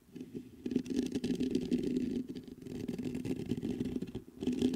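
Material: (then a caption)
Metal mesh. Fingertips and short nails scratch and tap the round mesh grille of a black metal USB condenser microphone on a stand. The result is a dense, continuous, close-up rustling and scratching with a warm low-mid body around 250 Hz and faint high crackle. It is broken by brief dips near 2.3 and 4.3 seconds before it swells again.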